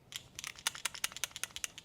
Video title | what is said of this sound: The Tac Comp is a menace. Bul Armory Tac Comp Review. | When the mags are loaded full, they can rattle.